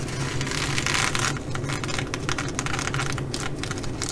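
Long fingernails on both hands scratch and tap across the sequins of a blue reversible sequin fabric bag. The sound is a dense, crackly rasp with bright swishing bursts, strongest in the first second and a half, then breaking into quicker scratchy strokes. A steady low hum runs underneath throughout.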